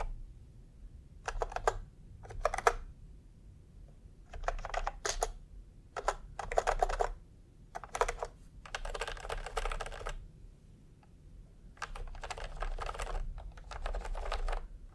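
Fingertips type on a full-size plastic computer keyboard with round pastel typewriter-style keycaps and a hollow body, resting on a white cloth. Bursts of quick, clacky keystrokes alternate with short pauses over a low, steady background rumble.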